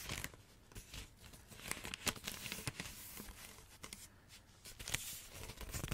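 A roll of glossy wrapping paper, a hollow tube, is held close to the mic and tapped and scratched with long nails. The result is a steady run of dry, crinkly taps and bright scratchy rustles with a light hollow thump underneath, each sound stopping short with no ring.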